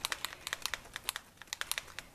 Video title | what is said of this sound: Mixed Media Canvas Part 1 | there's a little ball inside here so that when you shake it up probably hear that